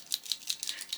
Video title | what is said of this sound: How To.....Start and Use Posca Pens | there's a little ball bearing or something inside which is mixing up the paint